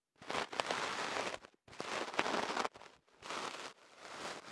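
A bamboo ear pick is inserted into the opening of a long white kenaf paper tube wrapped around a microphone and scratched inside it by fingers. It makes bright, dry scraping and rustling bursts, each lasting under a second, with brief near-silent pauses between them. There is very little low end.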